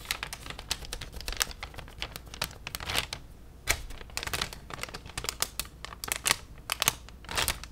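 A thin white plastic shopping bag with an orange logo is held up and rapidly tapped and crinkled with long nails. The result is a dense run of sharp, bright crackles and clicks over a faint low hum, with louder crinkly bursts scattered throughout.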